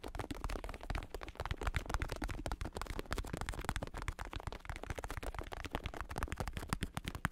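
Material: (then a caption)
Vinyl. Fingertips tap and scratch the top and side of a black padded bicycle saddle with a red stripe, made of vinyl synthetic leather over foam. A quiet, steady stream of rapid, soft thumps follows, dull and muffled with mostly low tones and very little brightness. Each tap dies away almost instantly with no ring.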